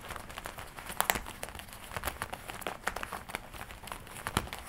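Fingertips tap and rub the leather chest panel of a worn black-and-red leather jacket with a studded collar. The result is a steady stream of soft, dry crinkles and quick, bright taps, with a few sharper clicks standing out. Each one stops almost instantly, with no ring.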